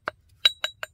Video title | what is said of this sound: 1371 - Director's Cut - Flintknapping Heat Treated Flint Ridge Blade | it sounds good it rings when I hit